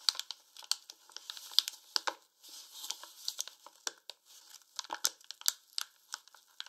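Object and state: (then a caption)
Paper flour bag being crinkled. A medium paper flour bag, partly full, stands upright on a wooden table while both hands fold and crinkle its top closed with their fingertips. Quick, dry, bright crinkles and rustles come in dense bursts with no low end and no ring.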